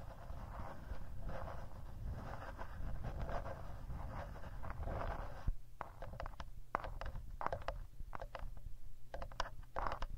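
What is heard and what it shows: Fingertips and nails tap the rear plastic casing near the speaker grille of a handheld black Tascam recorder, its hollow body held in both hands while it records itself. For the first half the close, muffled taps and scrapes blur into a heavy low rumble. After that they become sharper, more distinct clicks over a softer low hum.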